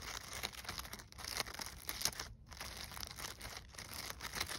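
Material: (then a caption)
Glitter, burlap. A gold glitter-coated artificial poinsettia ornament with burlap petals rests on snow while long nails and fingertips scratch and crumple its stiff glittered leaves and burlap petals. The result is a dense, bright, continuous crinkling and scratchy rustle, with a brief quiet gap midway.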